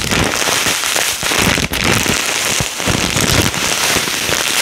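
A full clear plastic bag of small yellow polystyrene foam beads with a cardboard header is held and shaken by hand, making the beads rustle and patter. The result is a steady, dense, bright crackling rustle, with brief dips in loudness near 1.2 and 1.7 seconds as the shaking shifts.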